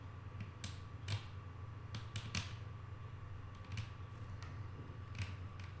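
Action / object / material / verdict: tap / wooden tabletop / wood / none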